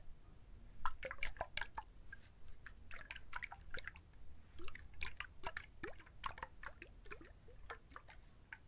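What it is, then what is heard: Husked coconut. A whole, hand-sized trimmed coconut with a fibrous tan husk, solid and heavy, is held in both hands close to a binaural mic and scratched and tapped with fingertips and short nails. Quiet, irregular, crisp clicks and scratchy ticks follow one another in a dry, drip-like patter, each dying away almost at once.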